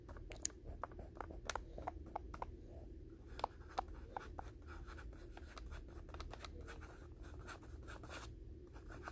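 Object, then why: Paper-wrapped pack of gauze pads. Fingertips and short nails tap and scratch the white paper wrapper, right on the blue label, of a soft rectangular pack of 200 gauze pads. Quick, crisp paper ticks and brief scratchy rustles repeat throughout over a low, steady background hum.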